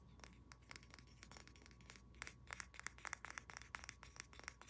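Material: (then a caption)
Wood. Long nails rapidly tap and scratch the back and sides of a hand-sized, solid carved wooden pig figurine with a polished surface. Quick, dry clicks with bright, clinking edges are heard over a soft scratching hiss, with a low steady hum underneath.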